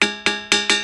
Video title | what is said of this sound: Ringing Rocks: సంగీతం వినిపించే వింత రాళ్లు - The Secret of Stones That Sing | చాలా దూరం కొన్ని కిలోమీటర్లు వినిపిస్తుంది